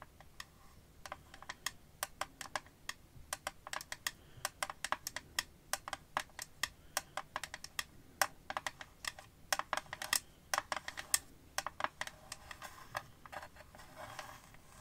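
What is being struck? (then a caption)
Clear glass-and-plastic phone case. Long nails tap the dark green rim and clear back panel of an empty, transparent glass-and-plastic phone case held at an angle in both hands. Dozens of quick, sharp, bright clicks come in an irregular, steady stream, each dying away almost instantly, with hardly any low end.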